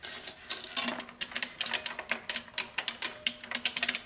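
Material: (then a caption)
Plastic. Fingertips with long painted nails type rapidly on a large, hollow-cased vintage beige plastic mechanical keyboard in the Model F style, with a row of small shells resting untouched on its front ledge. A quick, uneven run of bright, clacky keystrokes rattles out, each one short and dry with almost no ring.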